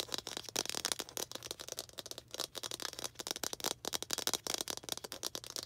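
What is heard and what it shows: Long green acrylic nails tap and scratch a small hollow red plastic ball with a slightly textured surface. A rapid, continuous run of crisp, bright clicks and scratchy ticks, each dying away almost instantly, with almost no low end.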